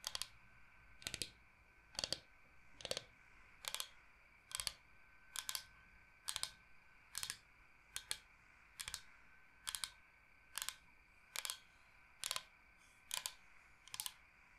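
Fingernails tap fast across the surface of a large, flat, solid bamboo cutting board shaped like the state of Michigan. Quick clusters of sharp, bright clicks repeat about once a second with very little low end. Each cluster dies away almost instantly into a quiet hiss.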